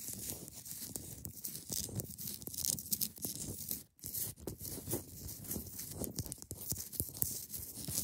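Long nails scratch down the front face of a hand-sized solid block of clear ice held at the sides. The scratching is a dense, bright, rasping hiss over a low rumble, with a brief silence near the middle.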